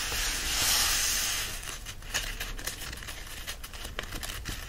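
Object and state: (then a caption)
Paperback book pages being rubbed. Hands press and rub the pages of an open paperback book while lifting the pages upright. A broad, bright papery hiss swells over the first second and a half, then gives way to softer rustling with a series of sharp paper crinkles and crackles.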